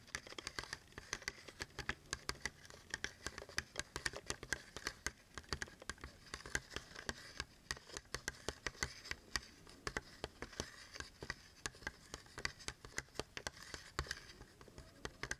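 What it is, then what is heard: Cardboard and plastic blister pack. A long, thin retail blister pack of paintbrushes, made of printed cardboard backing with a clear plastic front, is held in both hands while fingertips and short nails tap and scratch along its surface. The result is a steady run of quick, dry clicks and crinkly scratches with a bright, crisp edge and almost no ring.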